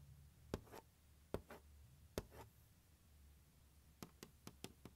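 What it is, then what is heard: Hollow plastic instrument case. Fingertips and nails tap and scratch the lid of a large, hollow, closed turquoise hard plastic glockenspiel carrying case lying on carpet. Three spaced, dry taps each trail into a soft brushing scratch, followed by a quicker run of short, clicky taps. The hits are muted and hollow with almost no ring, over a quiet low background hum.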